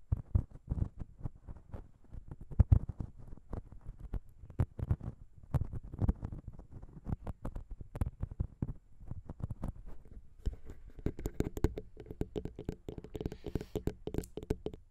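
Long pink acrylic nails tap and scratch the two small, hollow metal cylindrical capsules on the metal/plastic body of a Zoom H6 recorder's XY microphone head. The result is a dense run of soft, quick, dull taps with heavy low-end thump, and a brighter scratchy texture with faint tonal ringing emerges toward the end.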